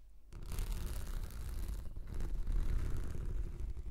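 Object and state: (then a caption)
Rolled plastic anti-slip mat scratched. Long nails slowly scratch a translucent textured plastic anti-slip mat that is rolled into a hollow tube and held horizontally. After a brief quiet start, a steady, dense scratching rumble follows, heavy in low tones around 70 Hz with a faint brighter rasp above.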